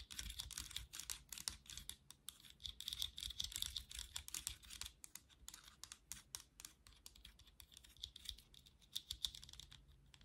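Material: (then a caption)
Plastic. Long nails tap and scratch the back of a black plastic vented hairbrush lying back side up, its hollow slotted body clicking under them. Quick, dry, bright ticks and scratchy rasps come in dense, irregular bursts with a faint tone near 3.6 kHz. Each sound stops almost instantly, with no ring, over a soft low rumble.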